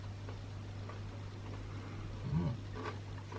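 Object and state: Nothing is struck.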